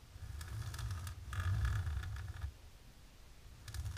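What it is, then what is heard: Embossed plastic film. Long natural pink nails scratch and tap fast on a flat, dark embossed plastic sheet. Bursts of dry, crackly scraping with bright ticking clicks sit over a low rumble, fade to a quiet pause after about two and a half seconds, then resume briefly at the end.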